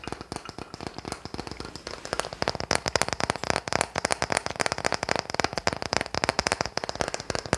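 A wooden toy car is tapped and scratched in a rapid, continuous stream of short, crisp clicks and dry ticks. The taps are softer for the first two seconds, then grow louder and denser for the rest of the clip, with no ringing after each hit.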